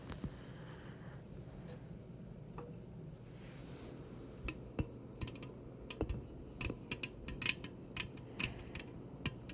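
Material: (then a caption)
Aluminium. A metal soda can is tapped as an ASMR trigger. After about four seconds of quiet, low background hum, a rapid series of sharp, bright, tick-like taps begins and continues with short gaps until the end.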